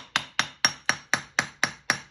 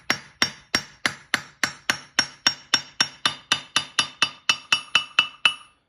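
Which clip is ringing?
The second.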